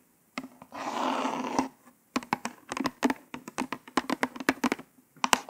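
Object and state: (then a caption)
Cardboard false nail package tapped and scratched with nails. Long nails tap and scratch a small white printed cardboard hanger card with a plastic window holding orange false nails. A sustained dry scratching rasp comes first, followed by a quick, irregular series of sharp, crisp taps and short scrapes with a papery, mid-to-bright tone.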